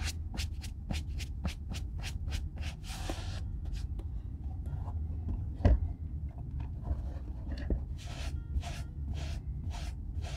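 A brown leather Red Wing Weekender Chukka boot, hollow and held in one hand, is rubbed with a folded white cloth during re-oiling. Quick, rhythmic swishing strokes come in bright bursts, pausing in the middle before resuming, over a steady low rumble. There is a single louder thump near the middle.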